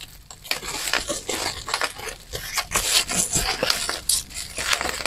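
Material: Plastic.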